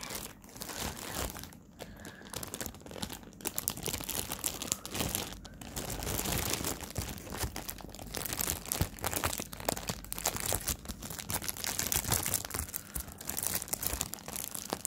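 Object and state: Plastic bag crinkled around a fabric pouch.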